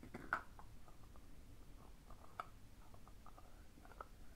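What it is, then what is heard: Painted wooden spoon. Large traditional Russian Khokhloma-painted wooden spoons are tapped softly and sparsely in quiet surroundings. The short, dry knocks carry a faint wooden tone around 1.3 kHz and die away almost at once over a low, steady background hum.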